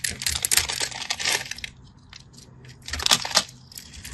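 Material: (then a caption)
Soap. A craft knife scratches and cuts into a solid orange-and-white striped bar of soap, sending chips falling off. Dense, bright, crisp crackling scrapes fill the first second and a half, fade into a near-quiet pause, then return in a shorter burst around the three-second mark before trailing off.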